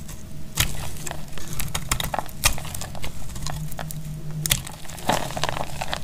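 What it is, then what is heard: Dry bar soap. A solid rectangular bar of dried purple soap is held in the hand and sliced with a snap-off metal blade. Sharp, dry cracks and crackles ring out as curls of soap break away, with bright clicks over a low steady hum.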